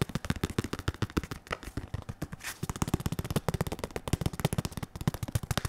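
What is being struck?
Padded synthetic leather boxing focus mitt.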